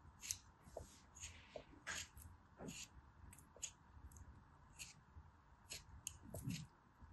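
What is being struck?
Compacted kinetic sand block.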